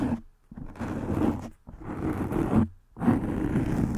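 Long nails scratch and rub a soft black foam windscreen covering a microphone head. The result is repeated bursts of close, rough, grainy friction, heavy in low and low-mid frequencies, separated by brief silent pauses.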